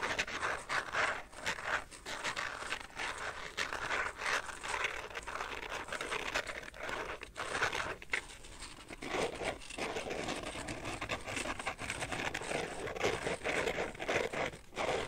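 An empty carbon fiber pattern phone case is held in both hands while fingernails scratch along its edge and across its inside surface. The result is a steady run of dense, bright scratching and crinkly scraping with little low end, broken by brief pauses.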